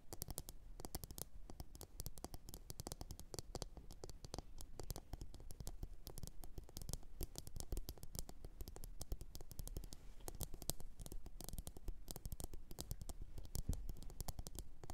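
Long orange acrylic nails tap and scratch the outer surface of a medium, glossy blue ceramic bowl that sits hollow, empty and upside down on a fluffy fur mat. A steady stream of quick, quiet clicks and taps with dull low thuds runs throughout, each one dying away almost instantly, with faint scratchy rustling in between.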